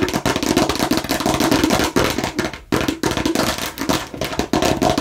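Long nails on both hands rapidly tap and scratch a hollow, hard plastic watermelon-slice container. The result is a dense, continuous clatter of crisp clicks with a hollow plastic tone centered around 330 Hz, mixed with bright scratching. The sound briefly drops out near the middle before resuming.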